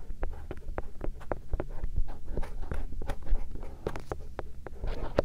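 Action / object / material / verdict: scrape / silicone microphone ear shell / silicone / none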